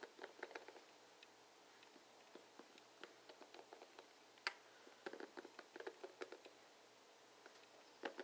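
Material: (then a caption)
Plastic. Fingers and nails strum across the plastic pins of a plastic paddle hairbrush. The result is quiet, scattered bursts of short, dry ticking and scratching with a bright, crisp edge, separated by near-silent pauses. Each flick dies away almost instantly.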